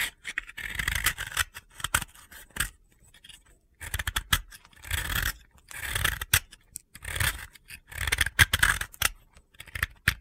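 A utility blade shaves gritty flakes off the edge of a hand-held, solid, round pale blue dry soap disc. Bursts of dry, crunchy scraping alternate with short pauses, each stroke a rough, bright rasp over a low grainy rumble that stops dead with no ring.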